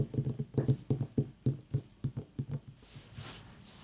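Long fingernails tap and click on a small whole white ribbed mini pumpkin, a hollow gourd with a long dry stem, held in the hand. About twelve quick, dull, hollow knocks land at an uneven pace with little ring. Then a soft, bright hiss rises from an aroma diffuser misting nearby.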